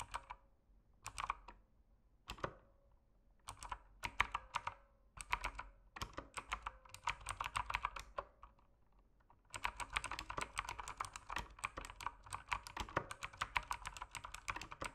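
Fingertips type on an RGB mechanical keyboard with plastic keycaps, producing short, sharp clicky key taps with a bright edge and almost no ring. The taps begin sparse and scattered, build into quicker bursts, and from about 9.5 seconds become a steady, continuous run of fast typing.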